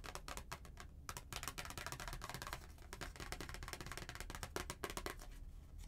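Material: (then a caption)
Paper. Long painted nails tap and scratch the back of a white Hallmark paper greeting card, thin and flat, held in one hand. Quick, dry clicks and papery scrapes follow each other in a dense, uneven patter, each tap bright and ending almost instantly over a steady low hum.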